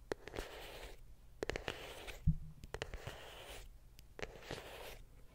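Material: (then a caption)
Cardboard. A small white printed cardboard iPhone box, closed and hollow and held close to the microphone, is scratched and tapped with long pink nails. Soft, breathy scratching swells alternate with quiet gaps, punctuated by sharp, dry nail clicks and one hollow low thump partway through.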